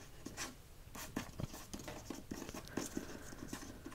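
Fingertips and nails tap and scratch the front cover of a solid hardcover copy of "Tomorrow, and Tomorrow, and Tomorrow" with a glossy paper dust jacket, held in the hand. About nine soft, dull taps stand out over a quiet, papery scratching.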